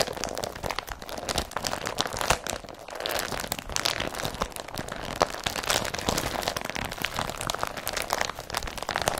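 An empty blue woven polypropylene IKEA BRATTBY carrier bag with yellow print is crumpled and rubbed between the fingertips of both hands. The result is a continuous stream of dense, dry crinkling and crunching with sharp crackles, centered in the midrange and reaching bright highs, with almost no low end.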